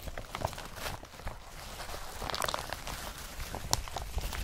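Hands press an empty blue woven polypropylene IKEA BRATTBY carrier bag, then lift and crumple it. Soft, papery crinkles and rustles come in short bursts over a low rumble, with a quieter stretch in between. Brighter, crisper crackles follow as the bag is crumpled.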